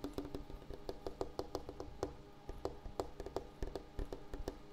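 A wooden table surface is tapped in a quick, uneven rhythm, about two dozen short, dry knocks in under five seconds. Each tap is dull and woody with a mid-low tone, a soft low thump underneath and almost no ring.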